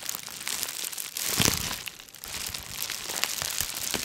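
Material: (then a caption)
Plastic. Layered rolls of clear, air-filled plastic bubble wrap, possibly wrapped around a package, are pressed and crinkled with the fingertips of both hands close to the microphone. The result is a continuous, bright crinkling full of small crackles and crunches, with a louder crushing swell around the middle.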